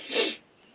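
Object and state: Nothing is struck.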